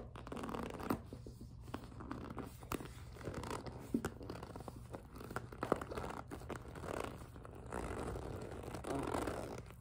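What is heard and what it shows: A small, hollow and mostly empty clear PVC (vinyl) zippered cosmetic pouch with pink fabric trim and a pink zipper is gripped and squeezed, then tapped with long acrylic nails. Soft, continuous squeaky and crinkly plastic sounds are broken by sharp, short taps.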